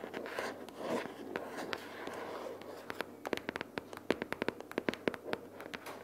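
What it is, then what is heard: Cardboard notebook case. A pink paperboard notebook case or binder lies flat with paper inside while long purple fingernails on both hands scratch and tap across it. The first half is a soft, papery scratching and rustling. It then turns into a quick run of sharp, dry fingernail taps with a hollow midrange body and almost no ring.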